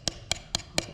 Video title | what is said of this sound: Project 54 XL Part 4: The Ariens Zoom 54 XL Gets It's Valves Adjusted, & New Composite Valve Covers! | I'm tapping on them and it just feels like it's metal but it's composite